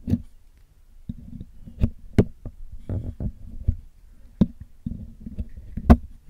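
A metal needle picks at the hollow black metal mesh grille of a Blue Yeti microphone, held in the hand, while cleaning it. About eleven irregular, dry clicks and scrapes are heard, each a short, bright tick over a low, muffled rumble, with quiet scratching in between.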